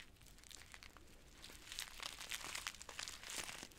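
A yellow Gallina Blanca chicken soup sachet of flexible plastic/foil, filled with dry noodles, is squeezed in both hands while long nails scratch and crinkle it. Bright, irregular crinkling and crunching starts soft and grows louder and denser about halfway through, with many short sharp crackles over a faint low rumble.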